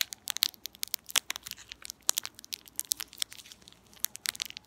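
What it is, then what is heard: Metallized plastic candy wrapper being crinkled. An empty, small purple metallized plastic candy wrapper is crumpled, pulled and crinkled with fingertips and long nails. Dense, bright crackles and sharp crinkle snaps come in quick irregular bursts, with almost nothing in the low end. Each pop stops dead with no ring.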